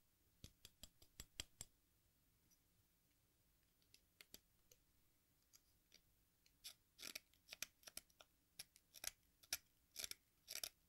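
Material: Chalk.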